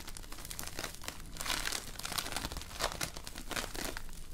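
A handful-sized, solid lump of multicolored foam-bead slime (floam), with tiny polystyrene beads bound in slime, is squeezed, kneaded and pulled apart by both hands with painted nails. The result is dense, continuous crunchy crackling and crinkling with bright, sharp bursts that swell around the middle and again near the end.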